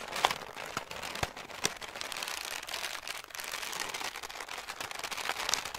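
A large, hollow, loosely balled-up sheet of light grey-brown crumpled paper is held in both hands and squeezed and crinkled with the fingertips and long nails. It makes a dense, continuous, bright crackling with a few sharper snaps standing out and almost no low end.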